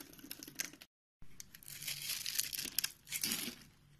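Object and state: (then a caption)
Bar of soap being scraped and carved. A palm-sized solid white bar of soap, held in one hand, is scored and shaved with a box-cutter blade so that small cubes crumble off. Bright, crisp scraping and crunching fills the clip, broken by a short silence near one second before the cutting resumes.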